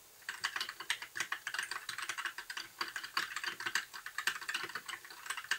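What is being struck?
Plastic mechanical keyboard.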